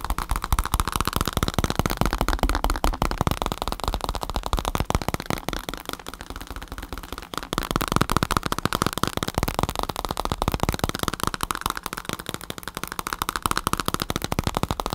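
A black bicycle saddle with a padded synthetic leather cover is held up and tapped and scratched with fingertips and nails. Dense, rapid, dry taps blend with crackly scratching for the whole clip, easing briefly in the middle before picking back up.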